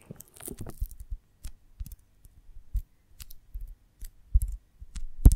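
Long fingernails tap and scratch the textured wax surface of a whole, hand-sized oval beeswax honeycomb filled with honey, held in both hands with a stick through its top. Soft, dull, irregular taps and short scratchy bursts follow one another with no ring, ending in a louder crackling scrape.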